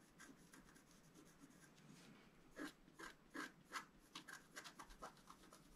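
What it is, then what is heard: Scratch-art card being scratched. A wooden stylus scratches fine strokes through the black coating of a scratch-art card, exposing the colored foil layer beneath, while the card lies flat on a table. A soft, steady rasping gives way to a quicker run of sharper, brighter scraping strokes.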